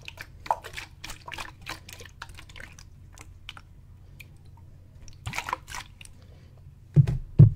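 A clear plastic water bottle, partly full of water, is held in both hands, tipped and shaken above the head so the water sloshes inside. Quick, bright, dripping, squishy splashes come in loose bursts over a steady low hum. Two louder, heavier sloshes land near the end.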